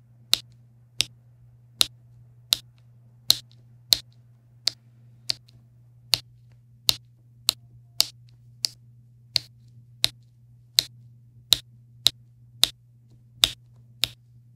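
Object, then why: Resin drills on a diamond painting canvas. A plastic pen with a yellow wax tip taps small resin drills into place along a yellow row on a diamond painting canvas resting on a wooden table. Twenty-one short, crisp, bright clicks sound at a steady pace, each dying away almost instantly, with a peak near 3.8 kHz. A faint low hum runs underneath the whole time.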